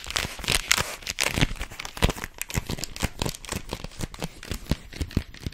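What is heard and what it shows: A long, hollow white cylindrical roll, likely rolled paper, is squeezed, scratched and tapped with long fingernails. The result is a rapid, uneven run of crisp crinkling, tearing-like scrapes and soft taps. Each sound has a bright, papery edge and a dull low thump, and dies away at once.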